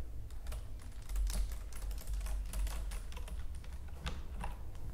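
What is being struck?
Plastic computer keyboard.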